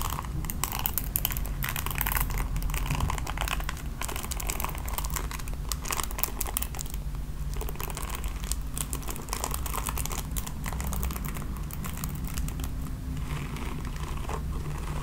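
Long nails scratch over a red plastic paddle hairbrush as it is turned from its back to its bristles, making a dense, continuous crinkly scratching with bright, rapid ticks. A steady low hum sits underneath throughout at an even, moderate level.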